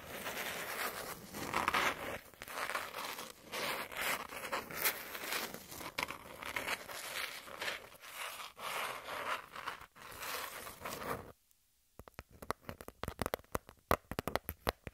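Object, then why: Cardboard sheet. Long pink nails scratch a flat brown cardboard piece with a torn edge, making a steady dry, papery rasp with bright crackle for about eleven seconds. After a brief silence, the nails tap the cardboard in a quick series of sharp, clicky hits.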